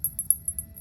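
A small cowrie shell with a bead attached, once tied to something with black thread, is shaken, giving five faint, very short, high-pitched clicks. The clicks sit over quiet, low-pitched background music.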